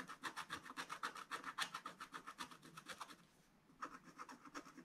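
A wooden stylus scratches and rubs the coating off a flat, thin, black-coated scratch-art paper page in a spiral book. It makes a quick, steady series of dry, bright scratching strokes, pauses briefly past the midpoint, then resumes.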